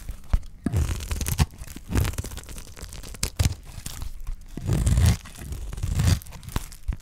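A utility knife blade shaves curls off a dry, solid green bar of soap held in the hand. A series of crunchy, tearing scrapes, heavy in the low end, is broken up by short sharp clicks as the blade bites and releases.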